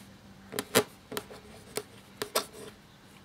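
A black feather quill nib scratches across a thin cream parchment-style paper sheet lying flat while writing. Six short, dry, bright scratching strokes come at uneven intervals over a quiet background with a faint low hum. Each stroke dies away almost instantly.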